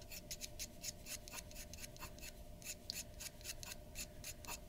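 A glass dip pen's metal nib scratches rapid hatching strokes across the hair area of a drawing on flat white drawing paper resting on a wooden desk. Quick, dry, bright scratches repeat in a steady rhythm, each one short with no ring. A faint steady hum sits underneath throughout.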